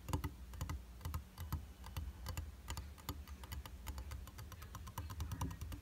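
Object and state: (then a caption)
Glass mirror tapped with fingertips and nails. Fingertips and nails tap quickly in a fast drumming pattern on the solid flat glass surface of a round tabletop makeup mirror with a white plastic frame. The result is a dense run of short, dry clicks over a soft low thump near 78 Hz, each tap dying away almost at once.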